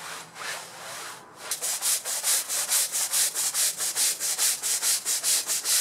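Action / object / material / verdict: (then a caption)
scrape / synthetic fiber rug scrubbed with a bristle brush / synthetic fiber / none. A long-handled plastic-bristle brush scrubs back and forth across a large, wet, soapy grey and red patterned synthetic rug, full of mud and dirt, lying on a concrete floor. Softer, uneven rubbing gives way to a steady rhythm of bright, hissing scrub strokes, a little over two per second.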